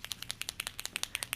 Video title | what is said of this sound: Acrylic Sign - Lettering Tutorial with Nicole Miyuki | you can hear a ball so think of this like a spray paint can and there's a ball inside